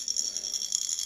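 An empty vessel holding a small loose object is shaken repeatedly, producing a continuous, thin, bright rattle of the object knocking around inside, with no low-end body. The object stays trapped inside no matter how much the vessel is shaken, because the vessel is empty.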